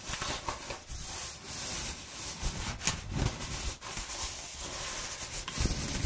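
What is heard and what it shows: A hand-held sheet of corrugated cardboard with exposed flutes, rolled into a hollow tube, is rubbed by fingers and nails running along its ridges. The result is a steady, dry, scratchy rasp with a bright hiss on top and a soft low rumble underneath. A few sharper scrapes stand out from the rubbing.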